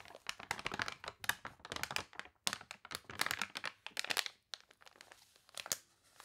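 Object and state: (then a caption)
Paper catalog scratched and crinkled. A thick, glossy paper toy catalog with water-wrinkled pages lies open on a table while long nails scratch and press across the pages, and one page is turned. The result is a run of dense, bright, crunchy crinkles and dry crackles in quick, irregular bursts with almost no low end.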